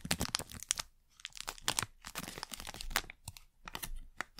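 A thin printed plastic wrapper packet is crinkled, bent and scratched with long nails. Bright, dry crackles and crinkles come in quick bursts with brief quiet gaps, each snap stopping almost at once.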